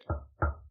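A wooden surface is knocked twice as a superstitious "knock on wood" gesture. Two dull, low thuds about a third of a second apart, each with a quick, short decay and a deep low-pitched body.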